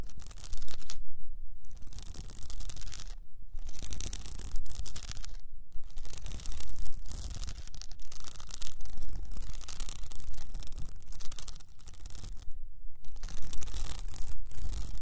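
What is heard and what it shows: Long nails on both hands scratch up and down an upright cylinder about 20 cm tall wrapped in blue plastic rhinestone mesh. The result is a dense, continuous, bright rasping texture over a steady low rumble, broken by a few brief pauses between strokes.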